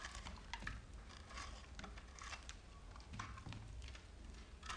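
A rectangular solid bar of soap speckled green, pink and white is held in one hand and shaved with a metal knife blade held in the other. Quiet, crumbly scraping and cutting strokes repeat with bright, crackly edges over a low steady rumble.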